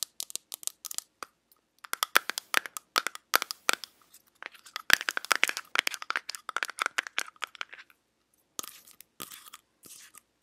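Long nails tap and scratch the lid and sides of a small, round, hollow teal metal tin. Dense runs of crisp, bright clicks and scrapes come in bursts with brief pauses, each tap dying away almost instantly and carrying no low end.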